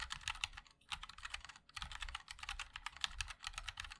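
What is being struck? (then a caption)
Mechanical keyboard with metal case and plastic keycaps. A MOD-L 60% mechanical keyboard with a black aluminium case, white and black ABS plastic keycaps and linear switches is typed on continuously by the fingertips of both hands. Rapid, bright, clacky key taps die away almost instantly, with a soft low thump under each press and two brief pauses in the flow.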